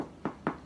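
Two hollow knocks on the back of a freshly baked homemade chocolate bread roll, each a short, dull thud with a low-mid body around 300 Hz that dies away quickly. The hollow sound shows the roll is baked through.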